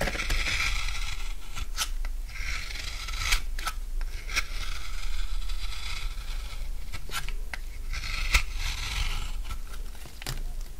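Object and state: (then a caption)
Dry soap bar being shaved. A utility knife shaves curls off a solid rectangular bar of dry blue soap. The scraping is steady and dry, with bright crunchy texture and repeated short sharp clicks as the blade bites in.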